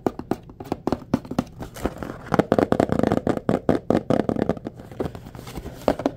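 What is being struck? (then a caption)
Small printed cardboard box holding bulbs. A small blue printed cardboard box holding a four-pack of white LED bulbs is held in both hands and tapped and scratched with fingertips and nails, possibly shaken. It gives a rapid run of dry, short, hollow taps centered in the low midrange, with almost no bright content. A denser patch of scratchy, crinkly friction fills the middle of the clip before the taps thin out again.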